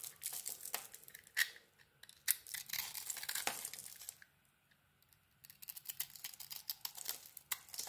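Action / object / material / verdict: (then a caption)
scrape / glitter-coated soap bar / soap / none. A hand-sized solid bar of soap with a glittery dark coating, held in one hand, is carved and scraped with a small metal blade, peeling off curls to show the white soap underneath. The cuts make crisp, dry, bright scraping and crackling bursts with sharp flakes, broken by a near-silent pause in the middle before quick, clicky scraping resumes.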